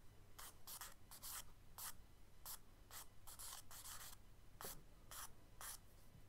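Long charcoal stick strokes sweep across a kraft paper sketchbook page to draw radiating light rays, while the hand brushes and rubs over the paper. Each stroke is a short, dry, bright scratch, repeated in a quiet, uneven rhythm over a faint low background rumble.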